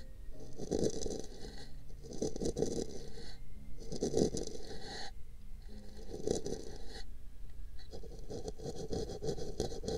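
A small brush scratches and brushes a hollow, empty pink paper cup held over a microphone. Soft, muffled scratching with a hollow midrange body comes in repeated sweeping passes, each topped with a crisp, bright hiss before briefly easing off.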